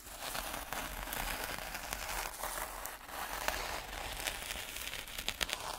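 Two wooden sticks held in gloved hands jab and scrape through fine, speckled black sand or grit in a white plastic tray. This produces a steady, dense, grainy crackle and hiss, bright and thin with little low end. A few sharper ticks stand out from the continuous scratching.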